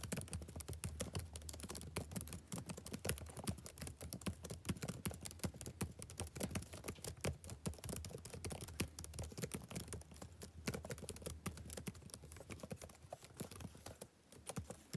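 Fingertips type steadily on the black plastic keys of a backlit laptop keyboard, producing a rapid, continuous patter of soft, short clicks with a muted, low-heavy tone. The typing stays dense throughout and briefly eases off near the end.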